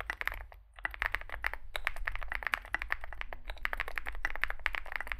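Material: Aluminium, plastic.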